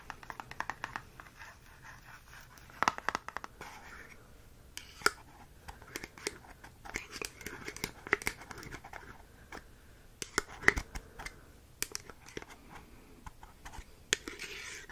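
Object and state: Metal tin scratched with fingernails.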